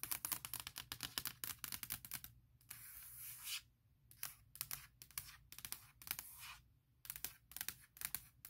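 Long nails tap quickly on the lid of a closed, large MacBook Pro with a hollow aluminum shell, near the logo. The clip is a run of sharp, bright clicks with almost no ring or low end, broken by brief stretches of steady, hissy scratching.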